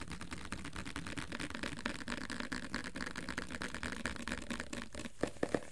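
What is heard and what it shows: A medium cylindrical plastic jar with a paper label and green lid, apparently full of orange-brown peanut butter, is held in one hand and quickly tapped and scratched along its side with fingertips and nails. The result is a steady stream of rapid, soft clicks and scratchy taps with very short decay, ending with a few louder, sharper taps near the end.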